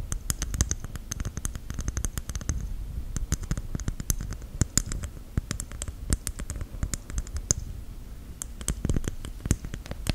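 Long white gel nails tap and scratch a whole, fist-sized, hairy brown coconut shell held close to the mic. Rapid, sharp, clicky taps with a hard, hollow, low knock mix with dry scratching rasps. The taps come in quick irregular bursts throughout.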